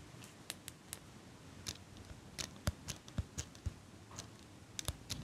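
A small silver metal eyelash curler, held in front of the mic, has its handles clicked and squeezed by a hand with long pink nails. About sixteen sharp, dry metallic clicks sound at an irregular pace over a quiet, steady hiss. Each click is bright with a soft low thump and dies away almost instantly.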